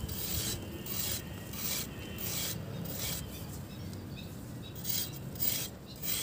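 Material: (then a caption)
Sand. A metal knife blade scrapes along the surface of a hand-sized, solid, dry grey pressed sand block held over a basin of water, crumbling it into powder. Repeated rough, bright rasping strokes come in uneven bursts over a steady low gritty rumble.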